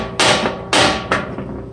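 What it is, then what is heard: Cracked aluminum transmission case. A hammer lightly taps the cracked aluminum case of a 4L60E transmission four times, each strike giving a bright, chattery metallic clank that fades quickly. The stress crack is confirmed as moisture seeps through it while the case is tapped.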